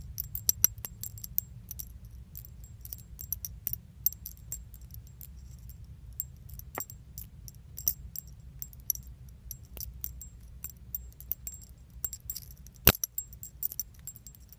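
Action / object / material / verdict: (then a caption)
shake / small metal leaf charms on a thin metal chain / metal / none. Small solid metal leaf charms on a thin metal chain are pinched between the fingertips and shaken in front of a steering wheel, giving light, bright tinkling jingles and quick clicks that die away almost instantly. A steady low hum runs underneath throughout, with a few sharper, louder clinks near the middle and toward the end.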